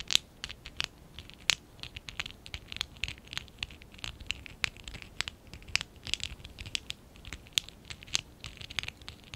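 Fingertips and short nails scratch and rub a small stack of small, hollow pink and dark blue ABS plastic Lego Classic 11017 bricks held in both hands. Dozens of short, bright, dry scratches and clicks follow one another quickly, with almost no low end and no ring after each stroke.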